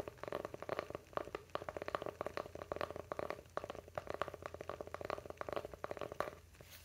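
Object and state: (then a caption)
Wooden coaster. A round, flat, solid light-wood coaster, palm-sized and held in both hands, is scratched and tapped along its grain with fingernails. A quiet, rapid series of dry, short taps and scratches is heard, centred in the midrange, with each tap dying away almost instantly.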